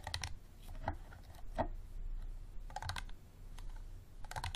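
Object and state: Plastic water bottle.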